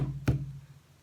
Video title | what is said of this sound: (118) Acrylic Straight Pour w/ DecoArt Dazzling Metallics & Dried Pieces | when it sounds like a drum when you tap it you know you're ready